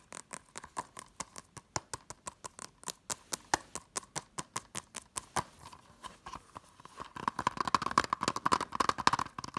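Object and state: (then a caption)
Plastic Blu-ray case. Long nails tap rapidly on a small, hollow blue plastic Hunger Games Blu-ray case, moving across its front, spine and back. Dozens of short, sharp clicks with a hollow mid-pitched ring come in a steady rhythm, then turn denser and louder as quick scratching joins the tapping near the end.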